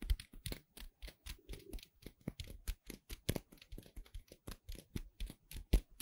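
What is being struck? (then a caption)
Cornstarch foam playcorn pieces. Two small dark gray solid cornstarch foam playcorn pieces, held between the fingertips of both hands with long red nails, are squeezed and rubbed close to the microphone. The result is a quick run of short, dry crackling squeaks and rustles, each ending almost at once, with a soft low thump under a bright crisp edge.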